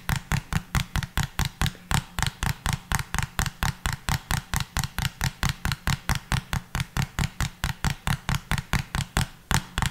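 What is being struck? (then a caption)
Small plastic bottle. A small, hollow pink plastic bottle with a pink cap is held upright and tapped with the fingertips. About 43 quick, steady taps sound as short hollow thuds with a deep body and a bright click on top, each dying away almost at once.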